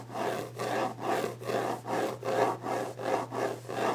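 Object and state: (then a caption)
Wooden desk top. Fingertips and nails of one hand rub and scratch across the top of a large, solid, varnished wooden desk. The result is a run of quick, rhythmic scraping strokes, each a dry, mid-range rasp with a little brightness. A steady low hum sits underneath.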